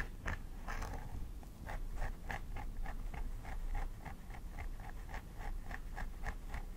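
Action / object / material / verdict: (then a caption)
scrape / plastic doll head with synthetic hair / plastic / none. A thin wooden stick scratches along the scalp line of a plastic doll head with synthetic hair, while the fingernails of the other hand press into the hair. The result is a steady run of short, crisp scratching strokes with a dry mid-range rasp, over a soft low rumble throughout.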